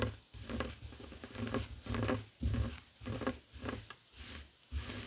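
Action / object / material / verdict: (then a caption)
scrape / woven fabric coaster on a wooden table / woven fabric / none. Fingertips and short nails scratch a flat, heart-shaped woven tapestry fabric coaster lying on a wooden table. Repeated soft, rough scratching strokes come in uneven bursts with short pauses between them. The sound is quiet and dull, with a low rustling thump under a faint, bright fabric hiss.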